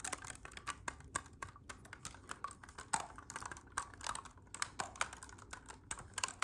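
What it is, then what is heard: Clarinet keys tapped. Fingertips quickly tap and press the silver metal keys of a hollow black clarinet. A rapid, uneven stream of light, dry clicks and clacks follows, each short and crisp with a bright edge. There is almost no ring and little low end.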